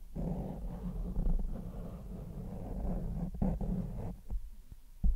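A grey foam windscreen covering a large microphone is lightly rubbed and scratched with the fingertips and nails of one hand. It makes a close, muffled, low rumbling rustle with soft scratchy brushing, broken by a few duller bumps. The clip ends on a louder thump.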